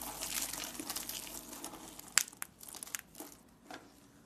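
Fingertips with long painted nails crush, grab, squeeze and rub through a flat pile of dry, solid soap shavings and chips in blue, green, yellow and pink, spread on a wooden surface beside a small dish of soap curls. The sound is a dense, bright crinkling crunch, busiest at first, then thinning into separate sharp crackles with one loud snap near the middle.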